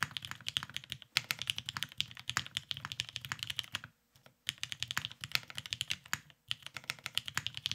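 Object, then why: Mechanical keyboard with plastic keycaps. A beige tenkeyless Cerakoted Salamander mechanical keyboard with lubed Vintage Black switches and plastic keycaps sits on a desk mat while both hands type on it continuously with the fingertips. The result is a steady stream of bright, crisp, short clacks with almost no ring, breaking into a brief near-silence around the four-second mark before the typing resumes.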